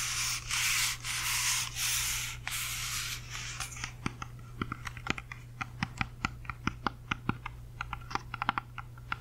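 Long fingernails scratch and tap on the skin of a whole, solid, uneaten red-yellow apple held in both hands beside the microphone. Bright, hissing scratches come in rhythmic bursts for the first few seconds, then give way to quick, sharp, dry taps at an uneven pace. A steady low hum runs underneath throughout.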